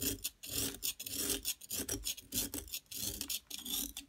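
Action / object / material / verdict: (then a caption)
scrape / plaster block scraped with a metal knife / plaster / none. A metal palette knife repeatedly scrapes and scratches the top edge of a large, solid, yellow plaster gold-bar excavation block, held down by a hand with long nails. Bright, gritty rasping strokes come in quick, uneven bursts with short pauses between them, and yellow powder sheds from the block.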